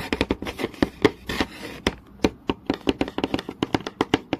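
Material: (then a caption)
Wood. Long nails tap quickly on a flat, solid wooden board with visible grain, then scratch across its surface. About two dozen short, dry knocks with a woody mid tone around 430 Hz die away almost instantly. A brief, hissy scratching rasp comes between them just before the two-second mark.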